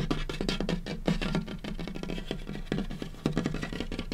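Fingertips and short nails of both hands scurry and tap across a large, solid, light wooden butcher-block tabletop. The result is a fast, uneven patter of dull, low knocks with a few sharper clicks and a scratchy, rustling texture in between. Each tap dies away almost at once.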